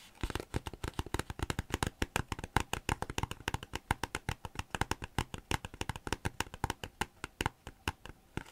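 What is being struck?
Thin plastic folder.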